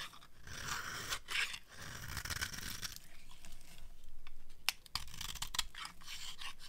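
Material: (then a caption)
Soap. A metal knife blade scrapes and carves the edge of a solid rectangular bar of dry white soap held in one hand, shaving off crunchy flakes. A steady, dry rasping with bright, hissy texture runs throughout, broken by sharp, short crackling snaps as pieces break away.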